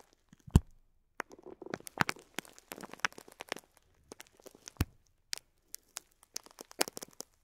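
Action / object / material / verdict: scrape / clear plastic bag of plastic pearl beads / plastic / none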